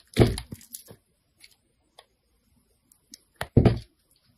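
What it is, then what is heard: Soap bar being shaved. A metal blade scrapes and shaves the surface of a hand-held, solid white Ivory soap bar. The cuts are short, dry, crackling scrapes with a low, thick body, coming in a series of separated strokes. The loudest, longest shaves open and close the clip, with quieter flicks between them.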